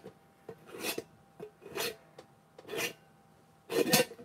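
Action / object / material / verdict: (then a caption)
scrape / clear plastic jar / plastic / none. Fingertips and nails scratch and rub the threaded neck and rim of a medium-sized, empty clear plastic jar with its lid off. Four longer bright, rasping scrapes alternate with short ticking clicks, with a faint hollow tone near 500 Hz. The final scrape is the loudest.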